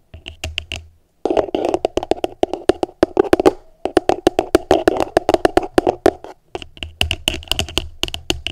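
Long nails tap rapidly on the flat bottom of an upside-down, hollow, empty translucent plastic food container. Bursts of quick, sharp clicky taps with a hollow, boxy midrange body alternate with brief pauses. Each tap dies away almost instantly.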